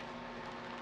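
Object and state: Nothing is struck.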